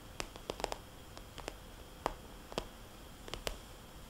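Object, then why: Vinyl cosmetics bag. A small, glossy red polka-dot vinyl cosmetics bag is tapped slowly with fingernails. Sharp, quiet clicks with a soft, hollow tone fall at uneven intervals over a faint steady hiss.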